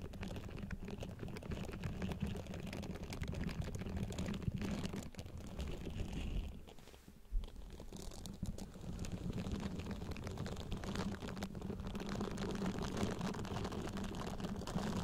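Long acrylic nails scratch across the short bristles of a small pink soft silicone face-cleansing pad resting on top of a microphone, making a dense, continuous rustling scratch. The sound is close and low-heavy, with a steady hum underneath. It briefly quiets around the middle with a single sharp tick before the scratching resumes.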